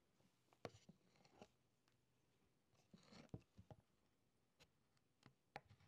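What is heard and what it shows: A brass-tipped stylus held in the fingertips scratches and incises letters into a thin layer of yellow beeswax set in a light wooden frame, the flat rectangular tablet lying on a wooden table. Soft, irregular scrapes and sharp little ticks come quietly and unevenly, with clusters of strokes and short pauses between them.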